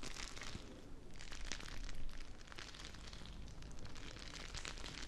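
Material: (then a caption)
Plastic. A small, full, clear plastic bag of teal gel water beads is held close to the mic and squeezed and crinkled by fingertips with long nails. It makes a dense, continuous crinkling and squishing crackle with a strong low rumble underneath and bright crackly bursts on top. The sound swells loudest around the two-second mark, then settles into steady squelching.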